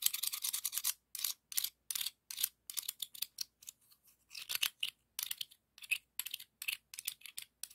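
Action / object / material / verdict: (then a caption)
scrape / ribbed scallop shell / shell / none. A thin seashell is scraped by fingers along the ribs of a hollow pink ribbed scallop shell. The result is a dry, bright rasping rub with no low end, heard as short bursts of quick scratchy strokes separated by brief silences.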